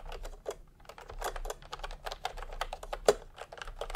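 Fingertips type fast on a full-size plastic retro computer keyboard with round pastel typewriter-style keycaps and a hollow body, resting on a white cloth. About 21 short, dry keystrokes click in a quick, uneven rhythm, each with a hollow mid-range clack that dies away almost instantly. One tap near the end stands out louder than the rest.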